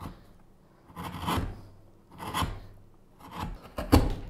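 A small gouge scrapes and hollows the bowl of a solid pale wooden spoon blank lying flat on a cutting mat. Repeated raspy, rubbing carving strokes swell and fade, each a dry scrape with a low body and a bright edge. The last stroke is the loudest and bites in sharply.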